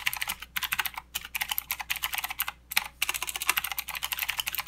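Fingertips of both hands type continuously on a full-size mechanical keyboard with plastic keycaps and blue clicky switches. The result is a rapid stream of sharp, bright clicks that stop almost instantly, with a few brief pauses between bursts.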